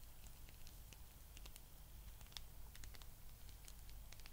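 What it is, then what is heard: Rubber spiky massage ball. A palm-sized blue spiky rubber massage ball is scratched and rubbed with long nails, making a quiet, continuous run of soft crackling, tapping clicks and rustling scrapes with bright high ticks. A steady low hum sits underneath throughout.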